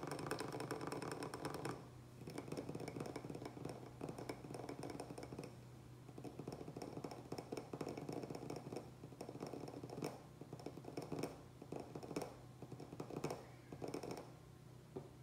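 Fingertips and nails rapidly tap and scratch the outer wall and rim of a small oval glazed ceramic planter full of gravel and soil with a succulent, standing on a wooden table, after the hands first cup and hold the pot. Dense, dry clicking taps with short, bright ring ride over a steady low hum, with louder bursts toward the end.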